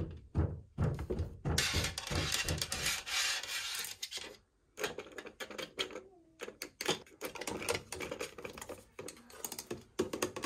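Long painted nails and fingertips tap and scratch across the flat surface of a white painted MDF medicine cabinet door, standing open on its hinge. Quick, irregular dull taps with short decay alternate with bursts of bright, hissing scratching, including a sustained stretch of scraping near the start.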